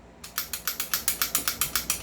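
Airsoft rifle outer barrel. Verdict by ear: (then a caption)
Loose. A stock airsoft rifle, as normally delivered, is shaken to show its loose outer barrel. A quick, even series of about fourteen sharp, bright clicking rattles is heard, each dying away almost instantly, with almost nothing in the low end. The rattle reveals the barrel is loose, which is not how it should be.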